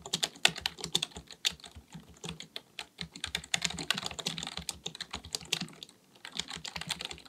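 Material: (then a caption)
Plastic. A black full-size plastic computer keyboard on a desk is typed on with the fingertips of both hands. Rapid, bright key taps click in quick, uneven bursts, each one short and dry, with a brief lull partway through.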